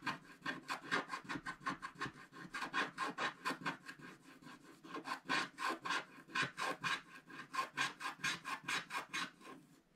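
A wooden stick scratches the upper right area of a black scratch-art paper page in a book while the other hand steadies the bottom of the page. It makes a rapid, steady series of dry, raspy strokes that rise and fall in quick rhythm, bright and papery with a focus around 1.6 kHz and almost no low end.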